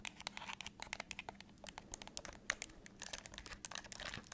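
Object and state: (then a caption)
Plastic TV remote control. Long acrylic nails tap and scratch across the buttons and casing of a hollow, handheld black plastic LG TV remote. The result is a quick, dense run of sharp, bright clicks and scratchy crinkling, with each tap dying away almost instantly.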